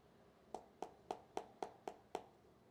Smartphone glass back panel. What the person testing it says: that sounds a bit more durable as if there is no hollow space